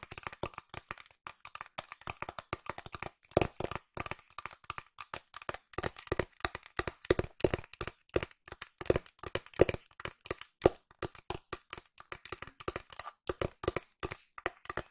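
A flat pink cardboard box with a printed illustration is tapped with long nails. A steady run of quick, dry taps comes at varying speeds, some faster and some slower. Each tap is short with a hollow, papery knock and almost no ring.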